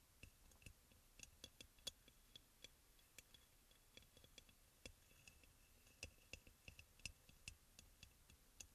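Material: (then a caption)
Ceramic. Fingertips and nails of both hands tap quickly on the sides of a hand-sized, white crackle-glazed ceramic aroma oil burner, which is hollow with a front opening and a lid bowl on top. The result is a quiet, irregular run of sharp, dry clicks, each with a brief, bright, high ceramic ping that dies almost instantly.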